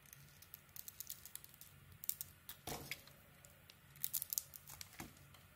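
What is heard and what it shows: A metal blade scrapes along the edges of a solid white bar of soap held in the hand, shaving off curls. Quiet, crisp, bright scratchy crackles and short rasps come in quick succession, with a longer, louder scrape near the middle and a cluster of sharp snaps toward the end, over a faint low hum.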